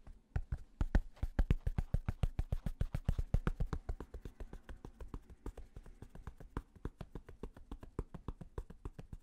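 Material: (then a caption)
Fabric. Fingertips tap and scratch the stiff purple flat brim of a black fabric snapback cap, producing a rapid, uneven run of dozens of short, dull, low thuds about three to four per second. Faint scratchy rustle sits between the taps, and the tapping grows slightly softer toward the end.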